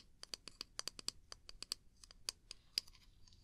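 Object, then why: Small wooden mug. A small, hollow, empty-looking wooden mug with a handle is held in one hand and tapped and scratched close to the mic with the long pink nails of the other hand. About 17 quick, dry, bright clicks and scrapes come in an irregular patter, each dying away almost instantly. The sound is quiet with almost no low end.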